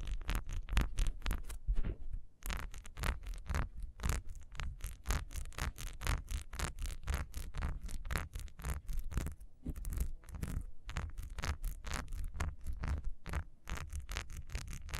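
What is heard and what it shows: Long nails scratch fast over the ribbed surface of a solid beehive wax candle, which stands upright with its wick. The result is a rapid run of short, dry scratching strokes with a dull low thud under each one and a thin bright hiss on top. There is a brief pause near two and a half seconds before the scratching resumes steadily.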